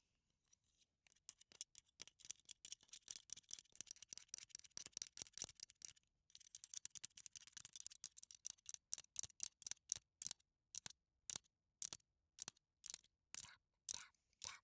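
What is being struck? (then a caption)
Hard plastic ball fidget toy. Long fingernails tap on a toy made of multicolored hard plastic balls linked together and twistable into shapes. The taps come as quick, bright, high-pitched clicks, dense and rapid at first, then spaced into slower, distinct taps with short pauses between them.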